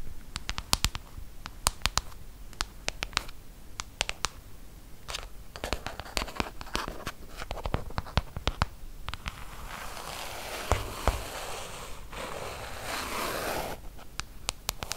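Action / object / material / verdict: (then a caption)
tap / glass-screen tablet with metal body / glass / none. Long acrylic nails tap quickly on the hard glass touchscreen of a large, flat iPad tablet with a metal body, lying on a table. The taps land as sharp, dry clicks with almost no ring, spread irregularly across the clip. Toward the end they blend into a denser, brighter scratching and scraping texture.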